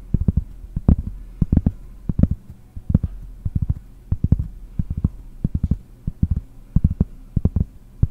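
Long nails tap a large, round, solid cork trivet held in one hand. The result is a quick, irregular run of dull, muffled taps that are mostly low and deep. Each tap dies almost instantly, leaving a faint low hum between them.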